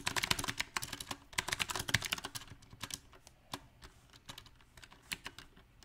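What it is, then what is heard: Mechanical keyboard typing. Fingertips of both hands type on a compact backlit mechanical keyboard with round plastic typewriter-style keycaps. A quick, dense run of bright, sharp clacks fills the first half, then the keystrokes thin out into slower, uneven taps. Each click is crisp and dies away almost instantly.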